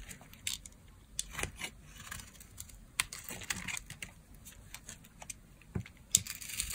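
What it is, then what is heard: Dry soap bar being shaved. A solid green bar of dry soap, held in the hand, is shaved into curls with a green-handled craft blade. A series of short, crisp, bright scraping and crackling strokes sounds against a quiet background, each dying away almost at once.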